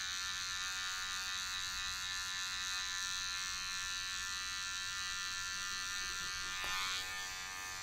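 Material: Nothing is struck.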